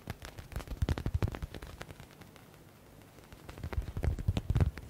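Fingertips rapidly tap and scratch a hand-sized yellow faux leather smiley stress ball with a stitched synthetic leather cover. Quick, dull, low thuds come in an uneven stream, fade to a quiet scratchy stretch midway, then return in a second busy burst. Each tap is short and dry, with almost no ring.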